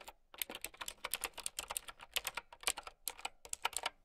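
A mint-green, typewriter-style mechanical keyboard with round plastic keycaps is typed on quickly with long nails and fingertips. It makes a steady run of short, sharp, bright clicks and clacks with almost no low end. Each keystroke dies away almost instantly.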